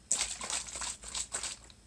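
A plastic bottle of clear TheraBreath oral rinse is shaken, giving five quick bursts of liquid sloshing with a bright, hissy splash. The liquid now sloshes freely. When the bottle first arrived in winter, the frozen contents rattled like sand, then melted the next day at room temperature.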